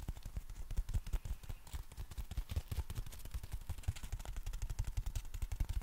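Fingertips tap and scratch along the folded nylon canopy of a compact black umbrella with a plastic handle and wrist strap. The result is a steady run of quick, irregular, muffled low thumps with short, dry decays, under a faint, bright scratchy rustle of fabric.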